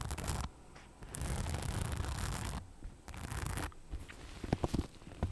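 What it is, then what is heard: Rhinestone-studded bag, scratched. Long nails scratch across the rhinestone-studded front panel of a soft, hollow cream crossbody bag, making bursts of dense, gritty, low-pitched scraping. The scratching ends with a few sharp, brief clicks.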